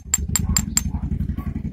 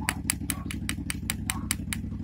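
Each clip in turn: First: zinc wheel weight, ringing rather than dull like lead. Second: lead wheel weight, dull sound.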